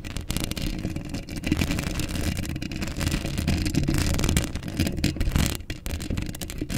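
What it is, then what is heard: Metal mesh microphone grille being scratched. Long acrylic nails scratch across a hollow steel mesh microphone grille up close, making a continuous, dense scratching texture. Deep, boomy rumbles and thumps sit under a bright, crackly rasp that swells and fades as the nails keep moving.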